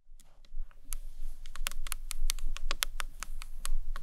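Long nails and fingertips tap on a rectangular, hard, hollow green marbled acrylic box clutch with a round clasp, which is turned on its side. A quick, uneven run of sharp, bright clicking taps rises over a low, steady rumble, each tap dying away almost at once.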